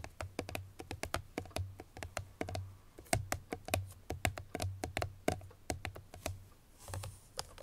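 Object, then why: Small closed paperboard perfume box. Long fingernails of both hands tap quickly on the top face of a small, closed, hollow cream-colored Chloé paperboard perfume box, possibly still wrapped in cellophane. Around thirty-three sharp, dry clicks land in an uneven run, each with a soft hollow low thump underneath and a bright tick on top that dies away almost at once.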